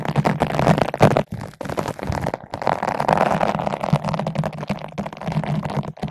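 A long bottle brush with green and white nylon bristles is held in both hands and rubbed back and forth across a large yellow-pink foam ball windscreen fitted over a microphone. The result is a dense, continuous scratchy scrubbing with rapid crackling strokes, full in the low-mids and with a steady low hum underneath, pausing briefly a couple of times.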